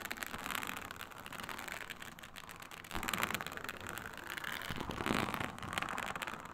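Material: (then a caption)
Faux leather. Long nails scratch across a flat, iridescent, snakeskin-textured faux leather sheet with a snake-scale synthetic surface. The result is a continuous, dense, crackly scratching with a bright hiss, steady at first and then growing louder in bursts around the third and fifth seconds.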